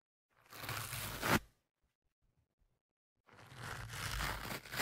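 A thin metal pick and fingertips scratch and rub the surface of a black foam windscreen on the left microphone. Two bursts of close, broadband scratchy rustling are heard: the first swells and ends in a sharp louder scrape, and after a short near-silent pause the second continues steadily to the end.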